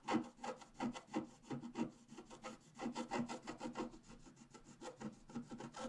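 A wooden stylus point scratches across a flat A4-size scratch-art sheet lying on a table, its black coating over a rainbow layer, while the other hand holds the sheet. A quick, irregular series of short, dry rasping strokes, each fading almost at once.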